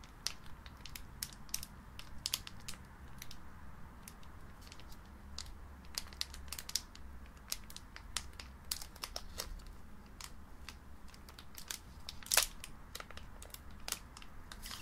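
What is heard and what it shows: A single small, sealed Pokémon booster pack of trading cards, made of metallic-foil plastic and full of cards, is held in both hands with long painted nails and crinkled and squeezed while being turned over from front to back. Many sharp, bright crinkles and crackles snap out over a soft, steady low rumble, with the loudest crackle near the end.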